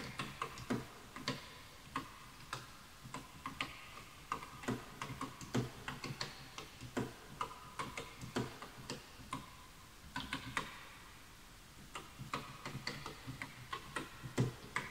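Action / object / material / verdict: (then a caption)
tap / bamboo wood computer keyboard / bamboo wood / none. Fingertips type continuously on a full-size bamboo wood computer keyboard with wooden keys, while the mouse is left untouched. Quiet, dry wooden clicks and taps fall in an uneven stream, each with a soft low knock and a very short decay. There is a brief lull near the end before the typing picks up again.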